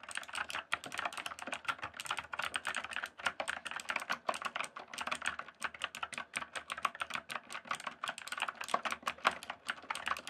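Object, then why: Plastic mechanical keyboard. Fingertips type and tap on the keys of a full-size RGB backlit plastic mechanical keyboard with a hollow case. The result is a steady, rapid stream of sharp, clacky keystrokes with a bright, mid-focused tone, almost no low end, and very short decay between strokes.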